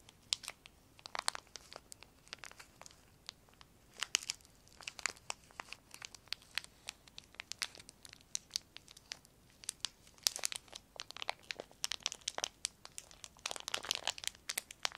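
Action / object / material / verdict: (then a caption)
scrape / thin clear plastic film / plastic / none. A small clear plastic sheet is crinkled, stretched and crumpled between the fingertips. It makes a dense run of sharp, dry crackles and snaps with bright, hissy highs and almost no low end. Each crack stops instantly, with occasional louder bursts of crumpling.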